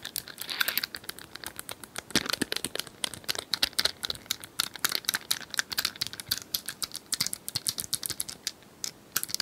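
Long nails tap rapidly on a small, likely hollow, plastic cylindrical puzzle toy with colored tiles. The result is a dense stream of sharp, bright clicks and crinkly ticks with almost no low end, each tap dying away almost instantly.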